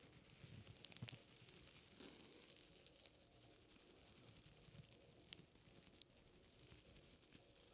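A folded strip of white paper is held in both hands while fingertips rub and flex it close to the microphone. The result is a quiet, steady, bright rustling and crinkling with low soft handling noise underneath. A few sharp, brief crackles stand out above the rustle.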